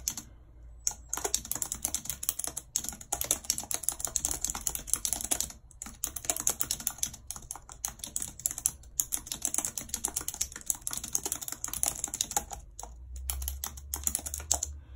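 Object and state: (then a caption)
Plastic computer keyboard being typed on. A full-size white and silver plastic computer keyboard with a numeric keypad, lying on a map, is typed on continuously and fast with very long red acrylic nails and fingertips. Its hollow keys give dense, bright, sharp clicks and clacks with very short decay. The sound is mostly high-pitched, with only a faint low hum beneath.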